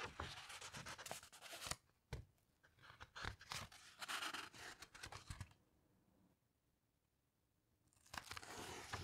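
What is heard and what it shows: A large open coffee table book with thick glossy paper pages, handled by fingertips with long pink nails that turn a page and then rub and slide along its surface. Bright, crinkly papery rustles and soft scrapes come in bursts, with a quiet pause near the middle before the rubbing resumes.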